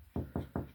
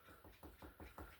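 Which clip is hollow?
The first.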